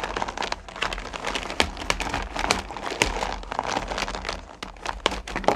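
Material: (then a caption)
Candy. Both hands dig deep into and stir small, solid candy corn pumpkins in a purple plastic bucket, with long nails rubbing against the candies. The result is a dense, continuous, bright rattling and crinkling clatter of candies shifting against each other and the bucket. Sharper clicks stand out irregularly throughout.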